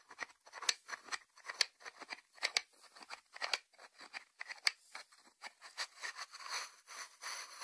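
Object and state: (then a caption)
Ceramic lidded salt dish. Fingertips and short nails rapidly tap and scratch on the lid of a small, hollow white ceramic salt dish, lid on, resting on a wooden board. Quick, dry, bright clicks come in an irregular stream with light scratchy rasps between them. There is almost no low end, and each tap stops with no ring.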